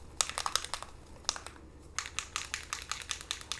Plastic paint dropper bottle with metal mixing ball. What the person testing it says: we shake it up you could hear the little mixing ball